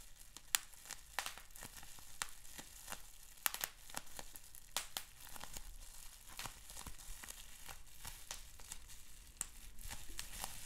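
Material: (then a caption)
Plastic. Fingers squeeze and twist a bundled sheet of clear plastic bubble wrap with small bubbles. A steady soft crinkle runs under many sharp, bright snaps and pops scattered throughout, each cutting off almost instantly. The result is a dense, crackling texture of irregular quick pops.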